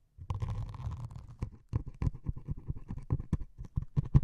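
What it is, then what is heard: Melamine foam sponge with scouring pad. Metal needles scratch a white melamine foam sponge with a grey scouring top. At first there is a dense, rough scratching, then a rapid series of short, low scraping strokes. The sound is muffled and mostly low, with only a little bright fizz on the sharper strokes.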